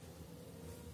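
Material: Nothing is struck.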